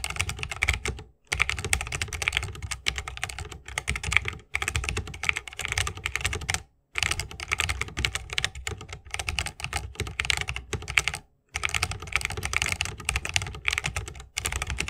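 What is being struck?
Mechanical keyboard, plastic keycaps, bamboo wooden case.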